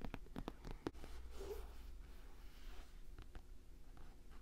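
Fingertips and nails tap the leather upper of a hollow, empty Nike Blazer-style white leather high-top sneaker with a red swoosh and rubber sole, held close to the mic. A quick run of soft, dull taps in the first second gives way to a quiet, low rumbling background with faint rustling.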